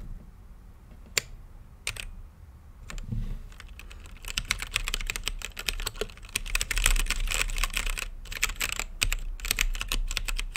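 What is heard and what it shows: Fingertips type on a blue-lit mechanical keyboard with plastic keycaps in a clear acrylic case. A few separate sharp clicks come first, then from about four seconds the typing turns into a rapid, uneven run of bright clacking keystrokes over a low background rumble.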